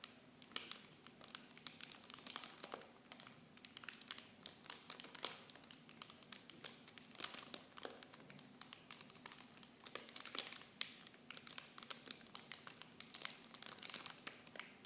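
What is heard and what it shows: Clear plastic film packaging wrapped around blue bottles is crinkled with fingers and long nails. The result is a continuous, quiet, bright crackling of sharp plastic snaps and rustles with almost no low end.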